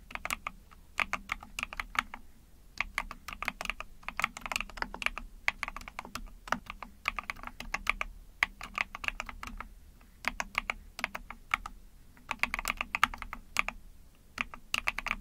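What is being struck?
Small mechanical keyboard with plastic case.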